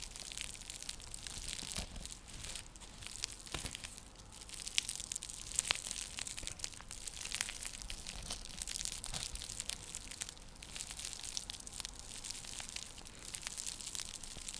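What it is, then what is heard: Woven seagrass coaster. Long nails scratch across a round, flat, coiled woven seagrass (straw) coaster used as a trivet. A dense, continuous stream of dry, crackly, crunchy scratches is heard, bright and hissy with little low end. Sharper clicks stand out now and then.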